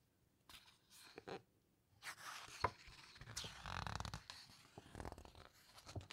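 Fingertips and long nails press, rub and squeeze the glossy paper pages of a large open hardcover photo book about underwater wrecks, then slowly turn the pages. Quiet, papery rustles and crinkles come in short bursts, with a sharp crisp snap partway through. A longer, fuller swish of a page turning follows, and soft scratchy rubbing continues to the end.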